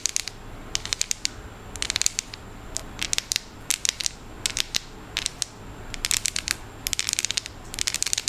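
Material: Chocolate.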